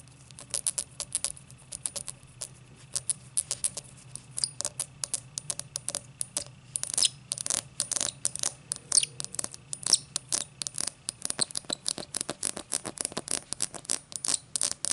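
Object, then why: Cut crystal highball glass. Long black nails tap and scratch the thick, star-cut crystal base of an empty tall cut-crystal highball glass. Quick, bright clicks and scrapes with almost no ring come sparsely at first, then grow dense and steady over a faint low hum.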